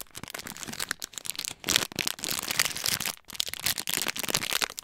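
A small, flat clear-plastic snack packet with a printed label and snacks inside is held in both hands in front of a microphone and crinkled and squeezed with the fingertips. The result is dense, bright, crackly rustling made of rapid overlapping crackles, almost all in the high range with very little low end. The sound is continuous except for brief quiet gaps near 1.6 and 3.2 seconds.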